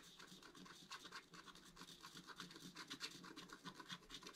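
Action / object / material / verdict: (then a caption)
scrape / black-coated scratch art card scratched with a wooden stylus / coated card / none. A wooden stylus scratches and rubs the upper right area of a flat, black-coated scratch art card while a left hand holds the card flat. Quiet, dry, raspy scratching strokes repeat at an uneven pace, with a bright, hissy texture and little low end.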